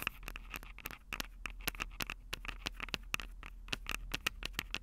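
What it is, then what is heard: Handheld audio recorder tapped with nails. Long acrylic nails tap rapidly on the mic capsules of a Tascam DR-05 handheld audio recorder with a plastic body and metal mic grilles. About two dozen short, dry, clicky taps with a bright, scratchy edge ring around 2.6 kHz and die away almost instantly. A faint, steady low hum runs underneath.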